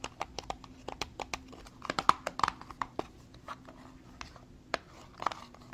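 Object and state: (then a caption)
Cardboard cosmetic box. Fingertips and medium-length nails tap and handle a small, dark printed Tarte cardboard makeup box, hollow and probably holding a product, as it is held in both hands and turned. A quick, irregular series of short, dry, hollow clicks and taps, centered around 1 kHz with a brighter tick, is heard with no ring after each hit. Soft scraping and handling noise fill the gaps between taps.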